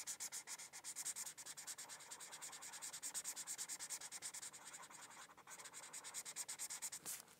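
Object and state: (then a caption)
Paper sheet being colored with a felt-tip marker. A white-barrel felt-tip marker rubs back and forth across a thin printed paper coloring sheet lying on a hardcover textbook, coloring it in. Long nails and a solid flat backing are involved. The result is a rapid, bright, dry scratchy swishing of quick, fairly steady strokes with almost no low end.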